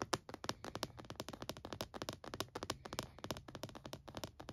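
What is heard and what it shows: Fingertips tap quickly on the lid and front edge of a closed, purple plastic-cased laptop, then a palm rubs across the surface. The result is a rapid run of light, dry, clicky taps that stop almost instantly, over a soft brushing sound.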